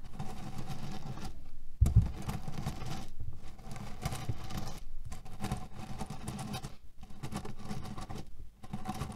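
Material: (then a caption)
Cherry pits. Fingernails scratch and pinch the fabric of a cotton pillow filled with cherry pits. The result is a dense, low, grainy rustling as the pits shift inside, in bursts separated by short pauses, with one sharper thump near the two-second mark.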